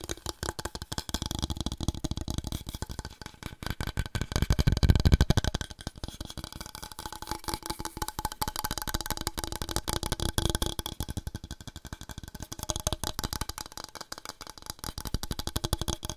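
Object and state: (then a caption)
Wooden board. A wooden board is tapped rapidly and continuously for ASMR, producing dense, dry, low-pitched knocks with almost no ring. The tapping swells louder around the five-second mark and again near ten seconds before settling back to a steady patter.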